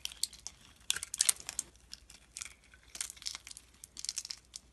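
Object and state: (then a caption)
Glycerin soap bar being shaved. A utility knife blade scrapes and shaves brittle flakes off a solid, translucent blue-purple oval glycerin soap bar held in the palm. Quick, dry, bright crackling scrapes come in irregular bursts, almost all high in pitch with no low end.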